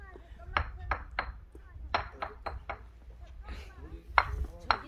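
A granite boulder at Manyeosa temple in Miryang is struck repeatedly to find rocks that ring like a bell. Ten sharp, bright clinks and pings sound with a tone around 950 Hz, each dying away almost at once over a low background rumble.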